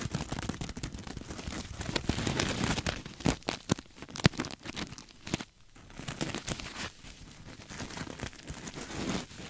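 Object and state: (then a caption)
Sequin-covered fabric pillow. A soft, stuffed cream sequin throw pillow, held beside the mic, is scratched with fingertips and nails. The result is a dense run of crinkly, crackling rasps with sharp clicky bursts, loudest in the first half with a brief lull near the middle. The scratching then continues at a softer, steadier level.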